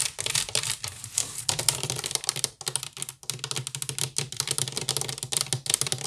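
Long pink nails scratch fast across a hollow, empty woven wicker basket. The result is a dense run of bright, crackly scratches and taps with very little ring, over a faint low hum, with a few brief pauses between bursts.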